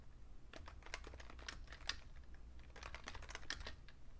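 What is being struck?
Plastic computer keyboard.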